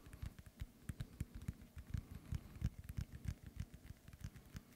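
Fingernails tap quickly on a hollow, inflated synthetic leather soccer ball, making a soft, uneven patter. Each tap is a short, dull, low thump around 117 Hz that dies away almost at once, with only a faint, bright tick of nail contact on top.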